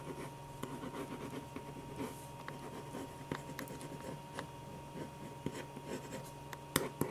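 A black ballpoint pen tip scratches fine, quick strokes across a stack of white paper sheets while shading the eyes and nose of a drawn portrait. Soft, irregular scratches and light rubbing sit over a quiet, steady background hum, with a few sharper, brighter ticks standing out.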